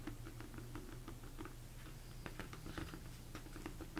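Fingertips tap and rub the top and sides of a large, hollow, empty plastic mixing bowl turned upside down. Soft, quick taps with a hollow mid-pitched tone die away almost at once, over a steady low hum and faint rubbing. The result is a quiet, irregular patter.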